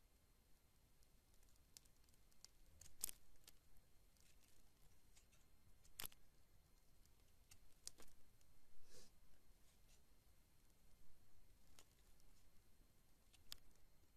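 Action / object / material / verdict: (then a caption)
scrape / bar of soap scraped with a knife blade / soap / none. A long knife blade scrapes thin shavings from a solid, hand-sized orange bar of soap held in the palm. Soft, crisp scrapes and a few sharp, bright flicks stand out at intervals over a quiet, low background hiss.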